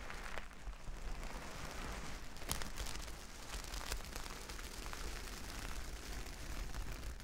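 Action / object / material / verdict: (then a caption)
scrape / plastic sequin fabric / plastic / none. Long nails sweep across a reversible plastic sequin fabric sheet, flipping the sequins over to their silver side. The result is a steady, dense rustling patter with a low rumble underneath and scattered bright, crisp clicks as the sequins turn.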